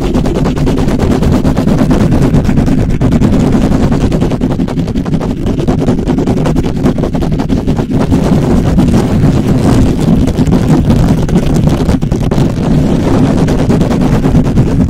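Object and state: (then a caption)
Metal mesh microphone grille. Short nails and fingertips rapidly and aggressively scratch and tap the hollow, perforated metal mesh head of a black microphone. The result is a dense, continuous crackling rumble, heavy in the low end, with steady loudness and no clear breaks between the strokes.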